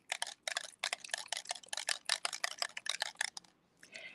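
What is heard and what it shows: An oxide spray bottle with pigment settled on the bottom and a mixing ball inside is shaken side to side like a bell, producing a rapid series of sharp, bright clicks as the ball rattles. The ball rattles freely, showing the pigment has been loosened and mixed.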